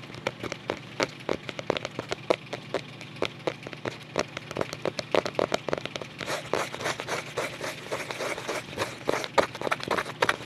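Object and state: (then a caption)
Cardboard photo album cover. Fingertips tap and scratch the paper-covered cardboard back cover of a closed photo album held in both hands. Quick, dry, crackly taps sound in a steady stream, turning into denser, rougher scratching over the second half.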